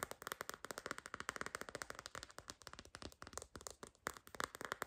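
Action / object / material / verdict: tap / silicone phone case tapped with fingernails / silicone / none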